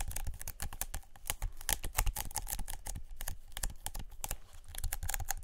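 A paper lint roller, a white adhesive paper roll on a black plastic handle, is tapped rapidly with long nails. The result is a fast, irregular run of sharp clicky taps, each dying out almost instantly, with a dull low thump under bright, crisp ticks.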